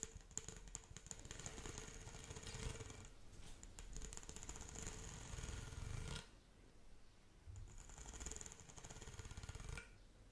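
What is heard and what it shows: Long acrylic nails scratch rapidly across the ridges of a pink corrugated hollow plastic pop tube toy, making a fast, dense rattling, zipping texture with a bright high ring over a hollow low rumble. The scratching runs steadily for about six seconds, drops to a quieter stretch, then picks up again before trailing off at the end.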